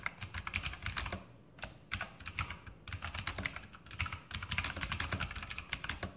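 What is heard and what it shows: Fingertips type continuously on a full-size RGB Sharpshooter X2000 mechanical keyboard with Outemu blue switches and plastic keycaps mounted on a metal top plate. The result is a rapid stream of sharp, bright clicky keystrokes over a soft low thud, with short pauses between bursts of typing.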